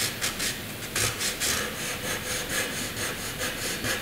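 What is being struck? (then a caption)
Graphite pencil on drawing paper. A graphite pencil rubs across a flat sheet of white drawing paper, drawing thick rectangle outlines. The result is a steady, bright, scratchy rasp that swells and fades with each back-and-forth stroke, with very little low end.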